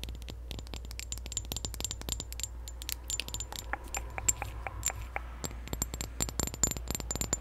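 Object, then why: Glass perfume bottle. Long nails tap and scratch a clear, partly full glass perfume bottle decorated with a pink ribbon. Rapid, sharp clicks and light scraping ring briefly with a high, bright glassy tone over a steady low hum.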